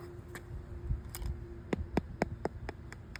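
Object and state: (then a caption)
Hollow (delaminated) tennis court surface. A tennis court surface coating is tapped ahead of a crack repair, giving a series of short, dull taps with brief bright clicks over a low background hum. The surface is found to be hollow.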